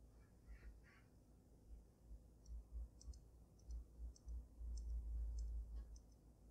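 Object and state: Glass snow globe tapped with fingernails.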